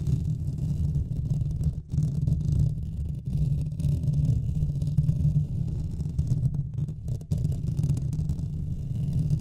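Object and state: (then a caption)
Metal mesh microphone grille being scratched. Both hands scratch the hollow metal mesh grille of a Blue Yeti microphone with fingertips and nails. The result is a steady, dense rumbling scrape concentrated in the low range around 150 Hz, with only a few brief dips in level.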